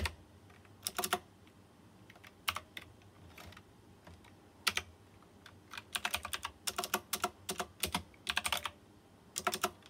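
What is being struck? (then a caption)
Plastic mechanical keyboard with round metal-rimmed keycaps. Fingertips of both hands type on a white plastic mechanical keyboard with round chrome-rimmed keycaps. Sharp, bright clicks arrive in uneven bursts and single taps, with quiet gaps between them and very little low end. Each keystroke dies away almost at once.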